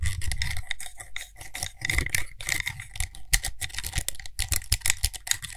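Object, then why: Small frosted glass cosmetic jar with metal lid. A small frosted glass (possibly acrylic) cosmetic cream jar with a gold lid is held in one hand while fingertips and nails rapidly tap and scratch on the lid and rim. Quick, dry clicks and scratches with a low thump beneath them sound in dense, uneven bursts with bright, crisp highs. Each hit dies away almost at once.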